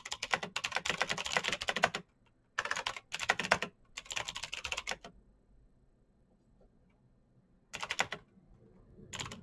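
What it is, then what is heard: Plastic mechanical keyboard. Fingertips type fast on a black Razer BlackWidow mechanical keyboard with plastic keycaps on clicky green switches. Bursts of sharp, bright clicks come in quick runs, separated by short pauses and a longer quiet stretch near the middle, before typing resumes at the end.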